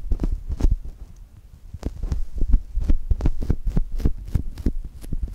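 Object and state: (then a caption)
Foam squishy toy. Two index fingertips press into and rub a brown polyurethane foam chocolate toast squishy. The result is a quick, irregular run of soft, muffled thumps and squishes, deep and low with almost no brightness and a faint hum beneath them.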